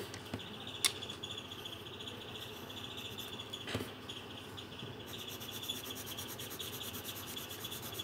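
A green coloured pencil rubs and scratches over the thin paper page of an open colouring book resting on a table. The result is a quiet, steady, dry scratching hiss with a bright tone near 3.5 kHz, broken by a couple of sharper ticks. After about five seconds it turns into quicker, more rhythmic strokes.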